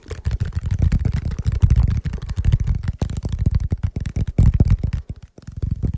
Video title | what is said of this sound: ASMR Sleep Triggers and Ultra Rare Blind Box Pulls! | thumpy sound of this particular piece of wood